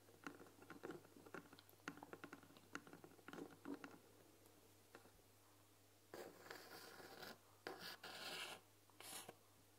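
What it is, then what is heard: Painted wooden tea box. A white painted wooden tea box is tapped with fingernails in a quick series of light, clicky taps over the first few seconds. After a pause, a fingernail scratches and traces along the painted lettering on its front, giving bright, dry scraping strokes.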